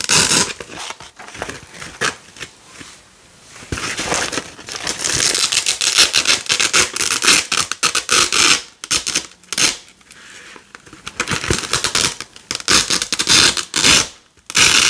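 Fingers with long nails peel a red nylon hook-and-loop (velcro) strip away from a black loop panel, producing bright, crackly ripping sounds. The tearing comes in repeated bursts with brief quieter pauses between pulls, and almost no low-end energy.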